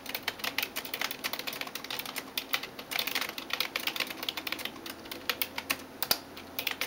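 A hand types rapid taps on a backlit plastic computer keyboard with its fingertips and nails. The result is a fast, uneven stream of short, bright clicks and clacks with almost no low end and no ring after each tap.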